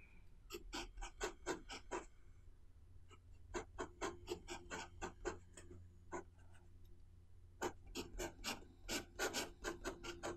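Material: Paper.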